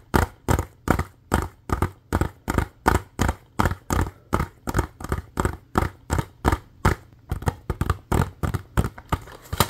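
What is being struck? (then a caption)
Plastic DVD case. A hollow plastic DVD case with a printed cover sleeve is held in both hands and tapped and scratched with fingernails. The result is a fast, steady run of short, dry, hollow knocks, about three per second, each with a brief scratchy edge and almost no ring. The rhythm grows quicker and more clustered toward the end.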